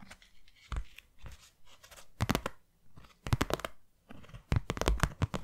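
Long nails tap and scratch the flat face of a closed, hand-sized white cardboard box. The result is dry, short knocks with a low, hollow thump under bright, rasping scratches. They come in scattered bursts that bunch into quick flurries toward the middle and end.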